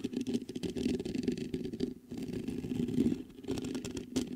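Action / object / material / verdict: scrape / metal microphone mesh grille / metal / none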